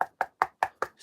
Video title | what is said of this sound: 🔴 TheStoneRanger is live 🔴 backup #carving #lion #teamgb #british #stonemasonry #diy #newskills | It sounds solid over here